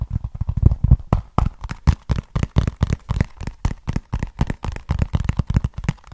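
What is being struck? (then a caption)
Small cardboard box. Fingertips and nails scratch and tap a small, flat, hollow brown cardboard box held at an angle. The result is a rapid, uneven series of short, dry, low-pitched thuds, each dying away almost instantly, with faint scratchy crackle between them.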